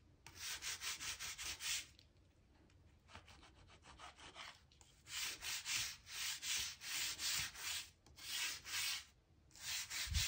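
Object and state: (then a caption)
Oak floorboard gaps scraped. The thin, metal-looking tip of a blue-handled crevice tool, held in the hand, scrapes and scratches along the gaps between the boards of a solid oak plank floor, brushing out dirt and dust. Quick, rhythmic back-and-forth strokes make a bright, hissy scratching in bursts. A quieter, softer stretch of scraping comes in the middle before the louder strokes return.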